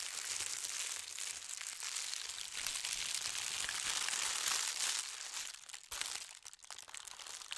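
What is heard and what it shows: Fingertips and nails press and rub along a long folded strip of white tissue paper printed with gold stars. The result is a steady, dense, bright crinkling and rustling with almost no low end, swelling slightly through the middle. It briefly cuts out near the six-second mark, then continues a little quieter and more broken up.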